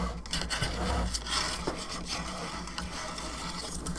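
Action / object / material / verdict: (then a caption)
scrape / plastic skull lamp / plastic / none. Long fingernails scratch across the top of a hollow plastic skull candelabra lamp and along its bone arms. The result is a steady, dry, rasping scratch with bright, papery edges over a constant low hum, with small irregular bursts but no clearly separated hits.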